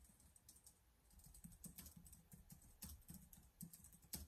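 Rapid fingertip typing on the keys of a black plastic laptop keyboard, heard as quick, irregular soft clicks with a low thump under each keystroke and a bright tick on top. A few keystrokes near the end land harder.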